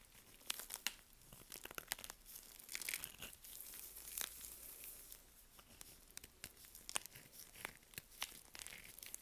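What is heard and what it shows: A small curved knife blade scrapes and cuts crunchy slices from a solid, dry green "Green Tea" soap bar by Svoboda, held in purple nitrile gloves over a pile of shavings. Sharp, bright crunches and crackling scrapes come in quick, dry bursts with no ring, over a quiet background.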